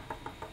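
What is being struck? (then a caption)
Wooden tool handle. Three knuckle knocks on the wooden handle of a 3D-printed Stormbreaker axe replica, whose head is plastic. The knocks are quick and woody, with a mid-pitched tone around 900 Hz and a brief ring, confirming the handle is real wood.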